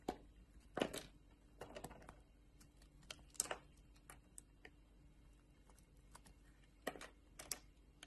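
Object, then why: Bar of soap cut with a metal blade. A metal utility knife blade shaves thin, translucent slices off a solid oval blue soap bar held in the palm. The result is a quiet series of short, crisp, bright scraping clicks with brief pauses between strokes.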